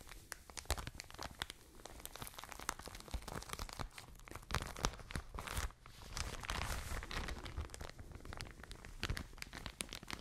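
A full, soft plastic package of cotton wool is crinkled and squeezed with fingertips and long nails. The result is a continuous stream of close crinkling, crackling and crunchy rustles with sharp bright snaps, briefly easing just before the six-second mark before building again.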